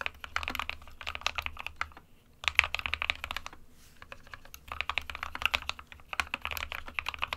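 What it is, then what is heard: Plastic mechanical keyboard. Fingertips of both hands type on an SK61 compact 60% plastic mechanical keyboard with white and grey keycaps. Quick bursts of short, bright, clacky keystrokes come in flurries, with brief pauses near 2 and 4 seconds, over a faint low hum.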